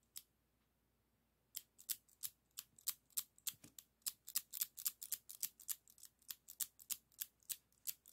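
Fingers open and close the handles of yellow and red plastic zigzag craft scissors with a metal blade, snapping the blades shut with crisp, bright plastic clicks. A single click is followed by a brief pause, then a quick, slightly uneven run of sharp clicks continues to the end. Each click stops almost instantly, with no ring.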